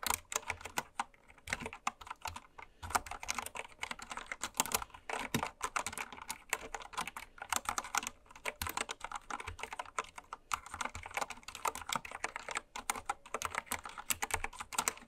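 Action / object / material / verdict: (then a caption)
tap / mechanical keyboard with plastic keycaps / plastic / none. Fast typing with long red nails and fingertips on a full-size, white-cased Candy Series mechanical keyboard with pastel plastic keycaps, lying on fabric. A steady stream of quick, crisp plastic clacks with a bright top and very little low end. Each keystroke dies away almost instantly.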